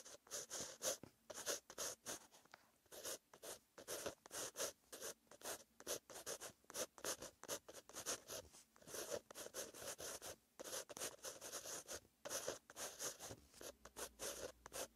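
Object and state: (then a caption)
Pen writing on a paper notebook page. A pen with green ink scratches across a white lined page of a paper notebook while writing. It makes a steady series of short, dry, bright scratching strokes with brief pauses between them.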